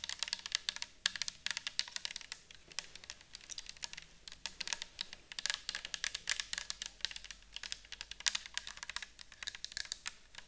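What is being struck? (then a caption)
Plastic bottle of liquid. Long acrylic nails tap rapidly on a clear plastic micellar water bottle full of liquid with a white cap, held in the hands. The result is a steady stream of quick, bright, dry clicks that stop instantly with no ring, varying a little in loudness over about ten seconds.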